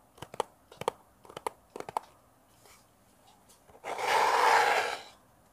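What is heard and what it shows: Fingernails tap quickly on the surface of a small, hollow, rectangular brown kraft cardboard box held in the hands near a mini mic, making light, typing-like clicks in four short bursts. After a brief pause with faint soft sounds, a louder, steady, bright rushing noise swells for about a second and then fades.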